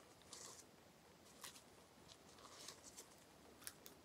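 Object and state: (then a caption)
Plastic bubble wrap being tapped. A small, clear plastic bubble wrap sheet with air-filled bubbles is held in one hand and tapped with the fingertips. It gives soft, uneven crackling and rustling with several sharp, bright snaps spread through the clip, and the level stays quiet overall.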